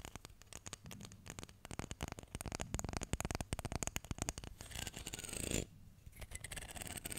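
Fingernails scratch and flick along the teeth of a solid wooden hair comb, with a dark wood handle and light wood teeth, held close to the mic. Rapid, dry ticking clicks run into a denser, brighter scrape that builds and then cuts off. Softer, sparser flicks follow.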